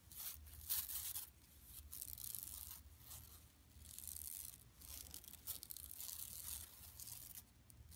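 Long nails scratch across an empty, large, flat yellow woven plastic mesh tote bag lying on carpet. The result is a quiet, bright, hissing scrape in uneven bursts over a low steady hum, rising and fading as the strokes change.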